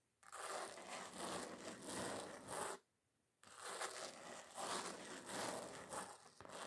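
Fingernail tips tap and scratch across the gritty surface of a flat, solid red glitter-coated foam craft sheet. The result is a dense, crackling scratchy rasp that runs for over two seconds, stops for a brief silent gap, then resumes for the rest of the clip.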